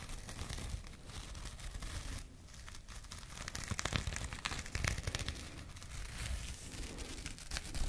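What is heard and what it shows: A small burlap jute pouch with a printed label is held in both hands and scratched with long nails. The result is a steady, dense scratching and crinkling texture with a strong low rustle underneath and bright, crisp clicks of the fibers, swelling in bursts toward the middle and end.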